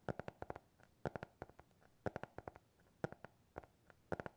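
Fingernails tap and scratch on the cover of a small, closed black hardcover notebook with a TikTok logo. Quiet, dry clicks arrive in five quick bursts roughly a second apart, with lighter taps and faint scratching between them. Each tap is short and dull and dies away at once without ringing.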